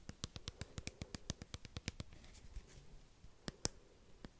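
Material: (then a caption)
Plastic. Fingernails tap and scratch a small white plastic cosmetic squeeze tube with an orange cap, held in one hand close to the mic. A fast run of bright, clicky taps fills the first two seconds, followed by a softer stretch of scratching and a few final sharp taps, 18 distinct hits in all. Each tap is dry and dies away almost instantly.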